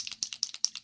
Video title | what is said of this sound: Review on 1 inch mold for wax seals | i don't know if i want to call them bbs or what but little metal balls in there to um shake it up